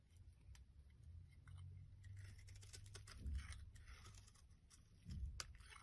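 A blade shaves long curls from the end of a solid oval green bar of soap held in the hand. The cuts make quiet, crisp scraping and crackling sounds with bright ticks over a steady low hum. Two louder scrapes stand out near the middle and the end.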